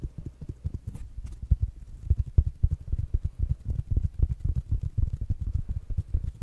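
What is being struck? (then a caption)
Small fabric-covered smart speaker. Fingertips and nails tap quickly on a small rounded black smart speaker with a fabric mesh cover. The taps are dull, low, muffled thuds that stop almost instantly, coming in a fast, uneven patter with faint brighter clicks from the nails.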